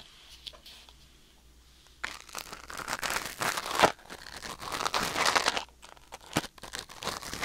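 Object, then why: Wooden ear pick on silicone ear. A thin wooden or bamboo ear pick held in the fingers scratches and scrapes inside the canal of a white silicone ear mounted on a black binaural microphone. After about two seconds of quiet with faint ticks, dense close-up crinkling and rustling scrapes build in bursts, bright and broadband. The scraping pauses briefly near the end and then resumes.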